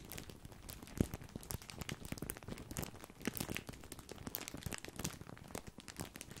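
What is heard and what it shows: A large, full, white printed plastic bag of grissini breadsticks is crinkled with the fingertips. The clip is a dense, continuous run of soft crinkling and crackling. Brief sharper crunches stand out near the first second and again around three seconds.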